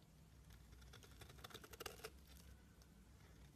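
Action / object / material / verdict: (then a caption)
scrape / soap bar scraped with a knife blade / soap / none. A utility knife blade scrapes and shaves flakes off the surface of a rectangular, solid, pale green soap bar held in hands. Quiet, crisp, rapid scratchy clicks with bright edges rise to a denser cluster of sharper scrapes in the middle, over a steady low hum. The sound then thins back to a soft, faint scraping.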